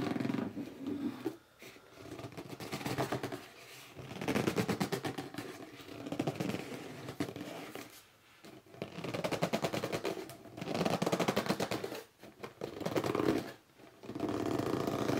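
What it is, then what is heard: Cardboard box being scratched and gripped. A red cardboard box stands upright and hollow while fingers with short nails scratch its top and hands grip its sides. The result is bursts of rapid, dry scratching with squeaky rubbing, broken by brief pauses.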